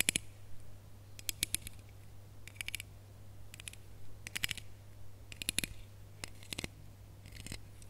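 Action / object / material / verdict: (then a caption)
scrape / ribbed hollow plastic Christmas bauble / plastic / none. Long nails scratch along the ridges of a small red, ribbed, hollow plastic Christmas bauble with a gold cap and hanger, held up in the air. Short bursts of quick, bright, clicky rasps come in separate clusters with brief gaps between them. A steady low hum runs underneath throughout.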